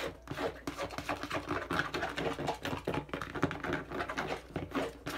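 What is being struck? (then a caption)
Hollow plastic bottle. Fingertips quickly tap and scratch the curved side of a hollow, medium-size, hand-held teal and dark blue plastic bottle. A dense stream of short, dry clicks and scratchy rustles blends with a faint hollow tone. Each tap dies away almost at once.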